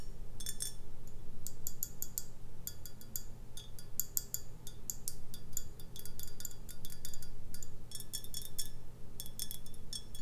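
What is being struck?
Glass beer bottle with metal cap.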